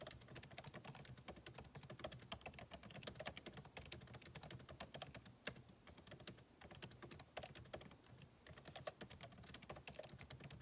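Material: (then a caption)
Plastic. Fingertips type continuously on the backlit keyboard of a MacBook Pro, with plastic keycaps set in an aluminum body. The result is a dense, steady stream of short, crisp clicking taps with bright edges and a soft low thud, each tap dying away almost instantly.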